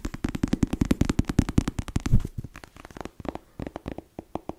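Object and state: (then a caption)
Paperback book. Long nails tap and scratch the laminated cover of a closed black paperback novel held upright. A fast, dense run of short, dull, low-heavy taps fills the first two seconds, then gives way to sparser, softer taps with faint scratchy texture. Each tap dies away almost instantly.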